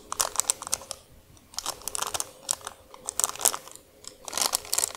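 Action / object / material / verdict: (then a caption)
scrape / plastic wrapper / plastic / none. Long acrylic nails and fingertips scratch, crinkle and press a long, thin, flat, empty, translucent thick clear plastic wrapper held and laid on a dark surface. Bursts of sharp, bright crinkling and crunching come in quick clusters with short quiet gaps between them.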